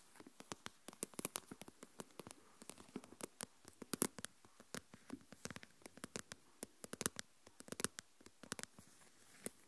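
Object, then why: Plastic tub with lid, filled with coarse salt. Long nails tap the lid and scratch the lid rim of a small translucent plastic deli tub with a lid, full of coarse salt. Dozens of quiet, dry, sharp clicks arrive in quick, irregular bursts, each bright and broadband with almost no ring, over a faint hiss.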